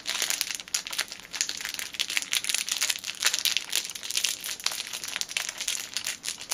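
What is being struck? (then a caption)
Cellophane plastic wrapping. A small dark item wrapped in clear plastic cellophane is held in both hands and crinkled with long painted fingernails and fingertips. The result is a dense, continuous stream of bright, crackly crinkles with sharp snaps scattered throughout and almost no low end.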